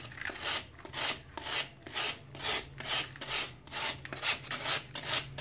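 A metal knife scrapes along the edge of a solid chunk of dried sand-cement held over a tub of water, in repeated shaving strokes. Each stroke is a bright, gritty rasp that swells and fades in a steady rhythm, with a faint low hum underneath.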